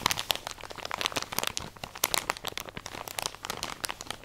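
A full plastic drawstring package of cotton pads is crinkled and scratched with long nails. It makes a steady run of dense, bright crinkling and sharp scratchy ticks with almost no low end. Each crackle cuts off instantly.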